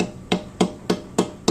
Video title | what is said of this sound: Dana talking tops | a little bit more defined sound than the first piece